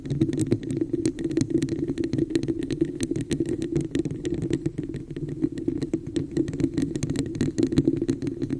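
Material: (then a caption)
Plastic. Long nails tap rapidly on the sides of a hollow red plastic cup with an embossed pattern, held over the mic. The quick, dense clicks each carry a short, boomy hollow ring centered low, around 280 Hz, and blur into a continuous rattling patter.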